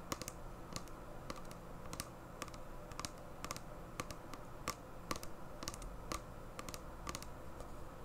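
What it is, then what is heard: Plastic sanitizer bottle tapped with nails. Long painted nails tap and scratch a small, clear plastic hand sanitizer bottle with a flip cap, filled with liquid gel and held in both hands. Quick, sharp clicks with a bright edge and a tone near 1.2 kHz come in an irregular, typing-like rhythm over a soft, low, steady background. Each tap dies away almost at once.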